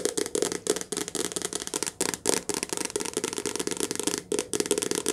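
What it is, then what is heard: Paperback book tapped with nails. A medium softcover paperback book with a glossy card cover and a solid paper block, held upright in both hands, is tapped fast with long painted nails. The result is a quick, continuous run of dry, crisp clicks and light knocks with a papery mid tone around 440 Hz, almost no low end, and each tap dying away instantly.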